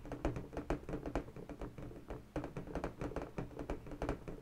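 Long bare natural fingernails tap rapidly on the surface of an inflated pink latex balloon, hollow and air-filled, held steady. The result is a quick, uneven run of soft, dull taps with a low, hollow thump and a short ring, with very little bright content.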